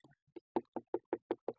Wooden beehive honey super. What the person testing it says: pela batidinha ali tá cheio